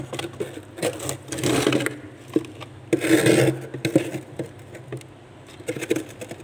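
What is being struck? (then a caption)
Frost on a freezer wall scraped by a stainless steel cup. A stainless steel tumbler held in the fingers rubs and scrapes across a thick layer of frost on the inner wall of a freezer. Gritty, rasping scrapes come in uneven strokes, with two longer, louder drags among shorter scratchy passes and quieter gaps between them.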